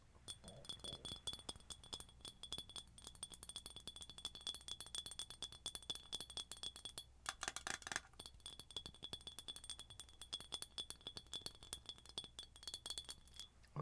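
Long nails tap and clink rapidly on an empty, hollow, ribbed red glass mason-style drinking jar with a silver metal lid and a striped straw. The dense, bright clicks ring only briefly, and a faint steady high tone runs underneath. There is a louder, brighter burst around the middle.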